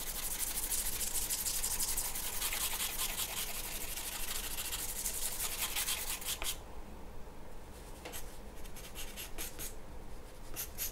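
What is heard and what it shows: A graphite pencil shades a large flat sheet of white drawing paper on a wooden table with quick strokes, making steady bright scratching and rubbing. For the first six seconds the strokes blur into a dense hiss, then it quiets and becomes separate short scratches with pauses between them.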